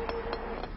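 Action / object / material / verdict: tap / concrete bridge deck tapped with a steel bar / concrete / hollow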